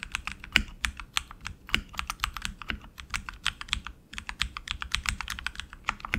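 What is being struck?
Mechanical keyboard with plastic keycaps on an aluminium frame.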